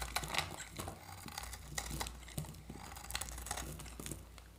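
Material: Soap.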